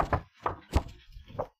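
A resin-coated photographic paper print, a paper base coated with resin on top and bottom, is tapped several times, producing short, dull, low knocks that die away almost instantly. The taps sound like plastic rather than fiber paper.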